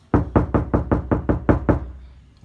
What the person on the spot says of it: you hear how loud that is